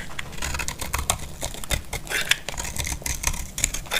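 A utility blade scrapes the faceted edges of a solid, dry, cream-white bar of soap. Quick, dry scratchy crackles and brief bright ticks follow one another rapidly over a steady low rumble, each dying away almost at once.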